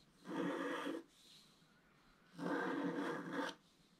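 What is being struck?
Coated scratch art paper scraped with a wooden stylus.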